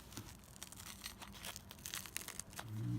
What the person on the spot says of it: Oh, you can hear how crispy that bread is.